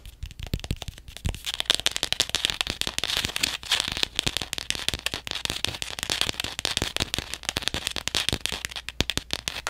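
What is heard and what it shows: Fingernails tap rapidly on a hardcover paper journal, first on its back or spine and then on its front cover. The result is a dense, dry stream of sharp, bright clicks that die away almost instantly, with a few deeper thuds mixed in.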